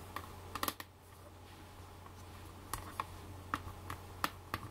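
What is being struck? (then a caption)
Plastic eyeshadow palette lid. Long black fake nails tap and scratch the clear plastic lid of a flat, rectangular handheld eyeshadow palette. Short, sharp plastic clicks come in a quick cluster at the start, then space out irregularly over a steady low hum.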